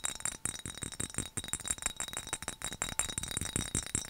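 Fingernails tap quickly on a hollow, dark glass skull-shaped mason-jar mug with a handle and lid. The result is a rapid, uneven string of bright, glassy clinks with thin, high chiming tones that die away almost at once.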